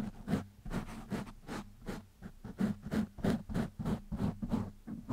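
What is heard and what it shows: Fingertips of one hand scratch a black foam windscreen on a microphone, producing about thirteen quick, loosely spaced rasping strokes. Each stroke is a short, breathy scratch with a low hum-like body near 200 Hz, separated by brief quiet gaps.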